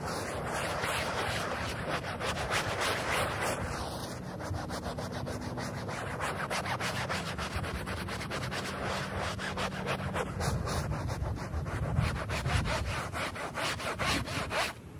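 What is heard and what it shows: A small handheld bristle brush scrubs a flat, thin, wet, foamy printed polyester rug with a space print, very dirty and muddy. Quick back-and-forth strokes make a steady, rasping, scratchy rub with a bright hiss over a low rumble. The scrubbing continues evenly for the whole clip.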